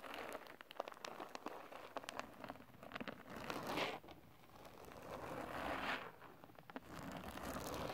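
A large flat sheet of holographic glitter paper or cardstock is brushed with the green silicone bristles of a kitchen basting brush. Rapid, irregular brushing and scratching strokes give a dry crinkling rasp with sharp crackles. Around 4 and 6 seconds the sound swells into longer, denser sweeps.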